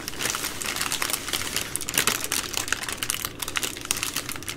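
Long nails tap and scratch the soft plastic wrapping of a multipack of baby wipes, a bundle of three full packs, while hands squeeze it. The result is a dense stream of bright, crisp crinkles and quick clicky taps with very little low end.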